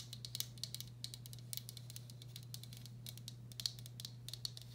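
Long black acrylic nails tap quickly and lightly on the outer wall and underside of a medium, hollow, empty turquoise speckled glazed ceramic bowl. The taps are sharp, bright clicks with almost no ring, scattered in irregular bursts over a steady low hum around 120 Hz.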